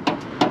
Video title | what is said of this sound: 1966 FORD MUSTANG COUPE 289 - INSPECTION ET TEST A L'AIMANT. | Pourtant ça sonne creux, hein.